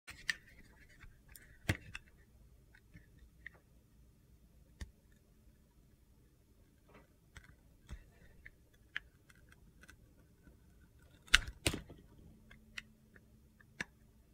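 A utility knife blade shaves thin slices off one side of a solid red bar of soap with a waxy coating, held in hand, exposing the yellow soap inside. Quiet, crisp cutting and scraping clicks come in short, sharp bursts with faint gritty crackles between them.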